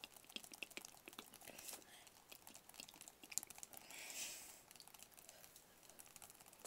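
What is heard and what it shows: Fingertips and nails tap rapidly on a small, hollow, rigid white cardboard product box. The result is a quiet stream of dry, bright clicks with almost no low end. A brief, softer brushing swell rises partway through.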